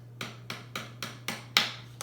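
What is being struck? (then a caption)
Slotted plant pot. A greenhouse plant pot with slits in its side is tapped at a steady pace, right after being scraped. Each tap gives a short, bright, hollow knock. Seven taps can be heard, and the one near the end is the loudest, over a faint low hum.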